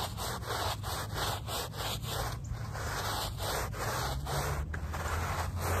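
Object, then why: Woven fabric rug backing scrubbed with a plastic bristle brush. A handheld plastic bristle brush scrubs the back side of a small, wet, soapy, muddy woven fabric rug lying on pavement, in long strokes. The result is a steady, rough, swishing scrub with bright hiss over a low rumble, and the strokes sweep back and forth in a continuous rhythm.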